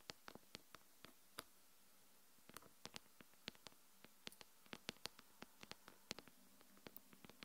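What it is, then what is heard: Glass smartphone screen. Long acrylic nails tap and scratch the glass front screen of a small, solid smartphone lying face up on a wooden table. About thirty sharp, bright clicks land in irregular bursts, each dying away almost instantly, with faint scratchy rustles between them over a quiet background.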